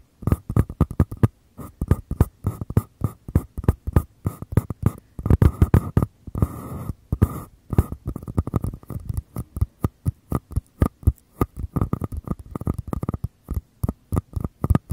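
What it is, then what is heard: Empty paper cup. Fingers rapidly tap and scratch the walls of small, empty white paper cups, one held in each hand with the open end toward the mic. Quick, dry, hollow taps with a deep thump land in dense bursts. Brief stretches of softer scratching break up the tapping around the middle.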